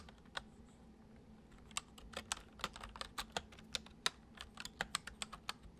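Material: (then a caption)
Plastic. Fingertips tap the letter keys and number pad of a full-size white plastic keyboard resting on a wooden desk, typing gently. There are 22 short, bright, dry clicks in an uneven rhythm, sparse at first and then quicker, over a faint low hum. Each click dies away almost instantly.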